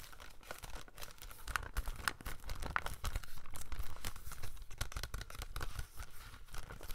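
Fingernails tap and scratch the front of a hollow plastic double-feature Jeepers Creepers DVD case. The result is a quiet, dense run of rapid, irregular clicks and crinkly scratching, with a few sharper taps standing out.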